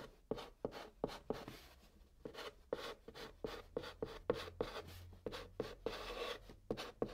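A hand writes Korean text in white chalk on the top of a brown cardboard box, scratching and rubbing the chalk across the surface. The quiet, dry sound is a string of 21 short, sharp chalk taps with a hollow tone around 480 Hz, joined by brief papery scratches and a longer rubbing stroke.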